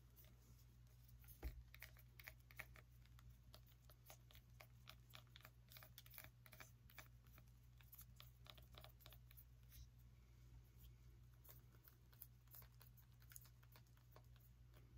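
Long nails tap rapidly on the hard, ribbed rind of a small whole orange pumpkin with its stem, held close to the mic. The result is a steady stream of dry, bright, short clicks with a few louder taps, over a constant low hum.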